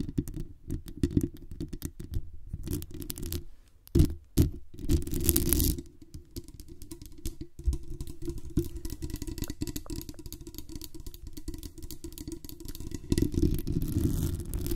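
Long nails scratch the metal mesh grille of a black condenser microphone with a metal body and tap on its base. The result is a dense stream of quick, dull scratches and taps, heavy and rumbling in the low end. Brighter, louder scraping bursts come through around the middle and again near the end.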